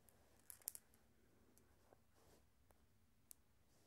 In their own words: Glass marbles making some sounds and rolling around.